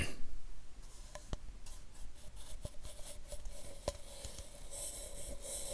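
A hollow white plastic supplement pill bottle with a paper label is held in one hand and brushed with a soft makeup brush. A quiet, airy scratching rustle carries throughout, broken by a few faint sharp ticks where the bristles catch. Under it sits a low steady hum and a faint tone near 600 Hz.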